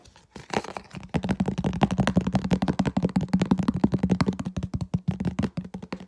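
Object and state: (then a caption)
Empty plastic food container. Fingers rapidly tap and scratch the walls of a medium, hollow, empty, translucent red plastic food container held close. After a brief quiet start, a fast, uneven stream of short dry clicks and scrapes follows, each with a low hollow resonance around 210 Hz and almost no ring.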